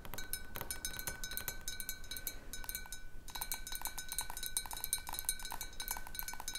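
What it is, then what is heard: Glass jar partly filled with water. Long nails of one hand tap quickly and irregularly on a large, clear glass jar partly filled with water. Each tap gives a bright, ringing clink with short-lived high overtones over a steady low background rumble, and the taps grow busier and louder in the second half.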